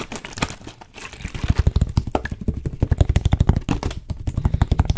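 Fingertips and nails tap rapidly on the blue cap and label area of a clear plastic water bottle held in one hand. After a quieter first second, a dense run of dry, short taps with a dull low thump sets in, each dying away at once with no ring.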